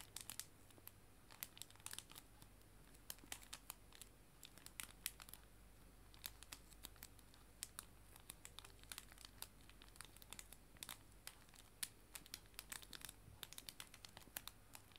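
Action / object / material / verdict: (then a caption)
scrape / clear plastic cello sleeve / plastic / none. A clear plastic cello bag, a sleeve holding paper art prints, is crinkled with fingertips and nails. The result is dozens of quiet, sharp, bright crackles with very short decay, scattered irregularly over a faint, steady low hum.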